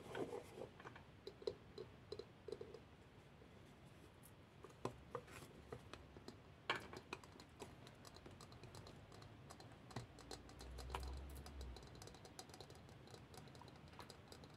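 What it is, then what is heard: Lacquered wooden box. A small, hollow, round Khokhloma-painted lacquered wooden box with a lid is held in the hands and tapped and scratched with long nails on the lid and sides. Quiet, scattered clicks and taps with a woody mid tone mix with soft scratching, and a low hum swells briefly near the eleventh second.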